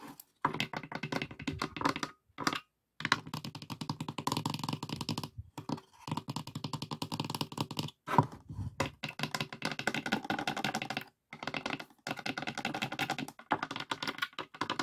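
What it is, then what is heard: Empty pine wooden box, hollow. Fingertips and nails tap and knock on the thin upright wooden dividers and inner walls of an open, empty, hollow light pine wooden box. Rapid bursts of dry, clicky knocks with a hollow woody tone centered near 1 kHz, each dying out almost instantly, are separated by brief pauses.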